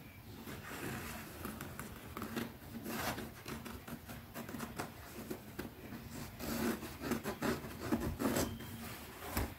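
Long nails scratch and tap quickly along the edge and side of a small, closed black grained-leather zip pouch held in one hand. The result is a soft, steady stream of dry scratchy rubbing broken by brief muted taps, with a few brighter clicks toward the end.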